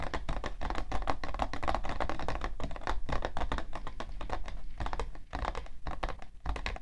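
Long nails tap rapidly on the side panel of a hollow, printed cardboard tissue box. The taps are quick and dense, with a dull, hollow body and short clicky tops that die away almost at once.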